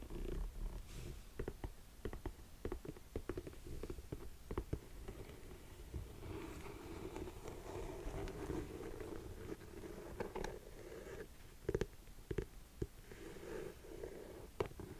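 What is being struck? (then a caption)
Empty suede lace-up ankle boot. Long nails scratch and tap the upper of an empty burgundy suede lace-up ankle boot. Soft, low, muffled brushing runs under a scatter of sharp taps that stand out in quick bursts early on and again near the end.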